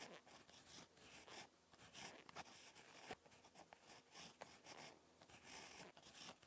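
A ballpoint pen tip scratches across a lined spiral notebook page while handwriting. The sound is quiet and bright, with dry scratchy strokes and short pauses between them.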